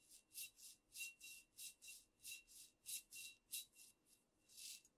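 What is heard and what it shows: Long nails scratch and rub a squat amber glass cognac bottle and its paper label, the bottle held close. A quiet run of soft, bright, hissy scraping strokes repeats at an uneven rhythm, with a faint steady high tone running beneath them.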